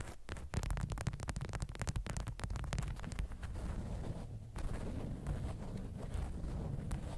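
A bundle of watermelon-print beeswax-coated cotton food wrap, resting on a green felt mat, is scratched and tapped with long acrylic nails. Quick, dry clicks and crackles come in a dense run over a steady low rumble, then ease into continuous rustling scratches. The sound is close and muffled, with almost no bright content.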